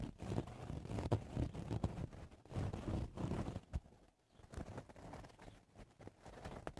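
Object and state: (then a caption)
Woven straw hat. Fingertips and nails of both hands scratch the woven brim and crown sides of a woven straw cowboy hat. The result is dense, irregular bursts of dry, low-heavy scratching and rustling, with a brief quiet pause about two-thirds of the way through before the scratching resumes more softly.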